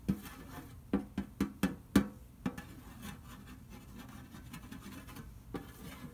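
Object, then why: Large round sheet-metal cookie tin. Fingertips rub and trace over the cookie pictures printed on the lid of a large, round, printed metal butter cookie tin lying flat and hollow. A quick run of soft, hollow taps with a low, resonant tone and very short ring comes first, followed by quieter, steady rubbing and scratching, with one last tap near the end.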